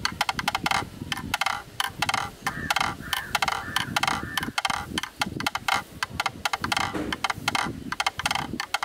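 A bamboo stick knocks rhythmically on the inner edge of a black, rectangular, hollow plastic camera lens hood held in hand. It makes a rapid string of short, sharp, hollow clicks with a woody-plastic tone around 830 Hz and bright upper ringing that dies almost instantly after each hit.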